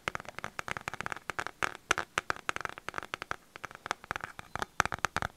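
A pink plastic paddle hairbrush with a hollow plastic back and handle is tapped and scratched on its back with fingertips and nails close to the mic. The result is a rapid, irregular run of dozens of short, dry plastic clicks and taps centered around 1.3 kHz. Each tap dies away almost instantly, with faint scratchy crackle between them.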